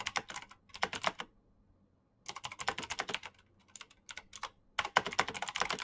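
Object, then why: Mechanical keyboard with plastic keycaps. Fingertips type quickly on a black Razer mechanical keyboard with plastic keycaps and clicky switches, producing about 28 sharp, bright clicks that stop almost instantly. The keystrokes come in rapid bursts, with a silent pause of about a second near the start and a shorter break before a final, louder flurry.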